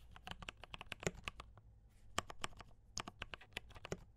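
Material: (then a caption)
Plastic. Fingertips type continuously on a compact D84 mechanical keyboard with brown switches and cream and red plastic keycaps. About 21 short, bright, clacky keystrokes land in quick, uneven bursts with a brief pause midway. Each keystroke is a crisp tap over a faint low hum.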